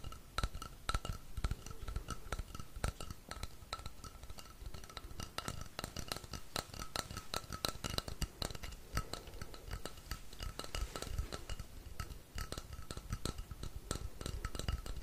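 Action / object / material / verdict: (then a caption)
tap / painted wooden rainstick tube / wood / none. Fingertips tap and scratch the painted surface of a painted wooden rainstick, a long hollow painted tube held at an angle. Rapid, dry, clicky taps and scratching run continuously over a low hollow thump, with a faint steady tone humming underneath.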